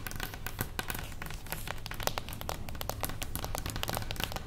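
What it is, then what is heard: Cardboard box. A small, closed beige cardboard gift box standing on its edge is tapped and scratched with the long acrylic nails of both hands. The result is a dense, steady stream of quick, dry, bright clicks and scratchy crinkles over a low, muffled hum, with no ring after each tap.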